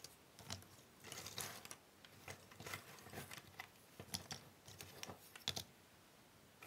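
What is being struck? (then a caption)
Cardboard jigsaw puzzle pieces. Hands rub and shuffle a large pile of small, thin cardboard jigsaw puzzle pieces on a wooden table, using fingertips and nails. Dry, bright clicks and papery scratches come in quick, irregular bursts over a soft background, with no ringing after each tick.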